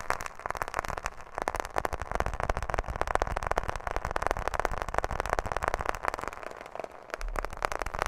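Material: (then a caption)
Plastic. A smartphone in a black plastic case with a glass screen, held close to the microphone, is tapped quickly with long fingernails on both the case and the screen. The result is a dense, steady stream of short, sharp clicks and taps with a midrange tone and a soft low thump underneath, each tap dying away almost instantly.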